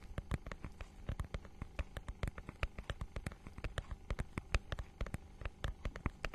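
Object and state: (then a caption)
Textured plastic book cover. A notebook-sized book with a holographic, scale-textured plastic cover is scratched and tapped with long nails. The result is a dense run of short, crisp clicks and taps over a soft, low scratching bed, with bright edges on the sharper strikes.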